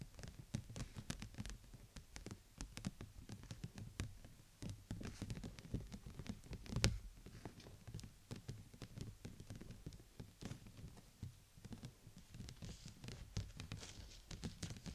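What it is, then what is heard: Clear plastic dome umbrella. Long nails and fingertips tap rapidly across the outside of a large, open, transparent PVC bubble umbrella, a thin, hollow stretched sheet set over the mic like a dome. The quiet, dense patter sounds like raindrops, with soft, low, hollow thuds and brief, bright clicks that die away almost at once.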